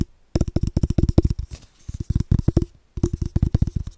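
A large, hollow, empty cardboard tube is held in both hands in front of the microphone and tapped with the fingertips. Rapid runs of short, hollow, low thumps come in three bursts separated by brief pauses. Each tap is dry and deep and dies away almost at once.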